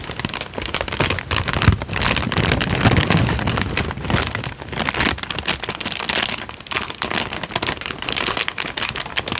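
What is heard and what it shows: A thin light-brown paper sheet is held in both hands while the fingertips pinch, bend and crinkle it. A dense, continuous run of bright, crackly rustling carries on throughout, with brief softer dips between bursts of crinkling.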